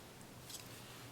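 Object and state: Nothing is struck.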